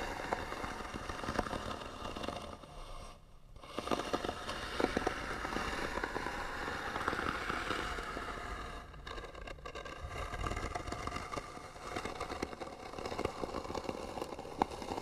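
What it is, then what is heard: Wooden box scratched with fingernails. Fingernails scratch the lid of a hollow white wooden box held in one hand, making a steady crackling, scraping rasp with brief quiet gaps. Bursts of fine clicks sit over a dense scratchy texture that carries into the highs.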